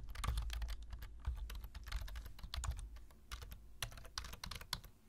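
Fingertips of both hands type steadily on a black plastic full-size computer keyboard, producing a dense run of quick, bright key clicks and taps. A steady low hum sits beneath the clatter, which softens slightly toward the end.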